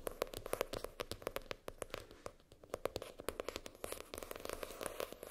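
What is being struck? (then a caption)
Hardcover spiral notebook, cardboard. Long nails tap and scratch the hard cardboard cover of a floral-printed hardcover spiral notebook lying flat, near the spiral. Quick, dry clicks with a hollow tone around 500 Hz come in dense bursts, with soft scraping between them and almost no ring after each tap.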